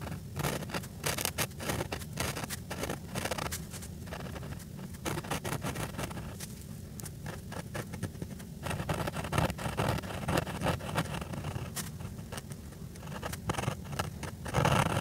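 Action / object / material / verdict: scrape / felt-tip marker on paper / paper / none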